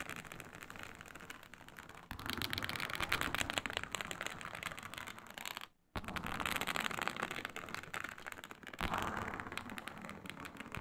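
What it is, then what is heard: Snakeskin-textured faux leather sheet. Long nails scratch the surface of a flat, iridescent, snakeskin-textured faux leather mat, making a dense, dry, crackly rasp with bright, papery texture. The scratching grows louder and rougher after about two seconds, stops briefly near the middle, then resumes with steady, fast strokes.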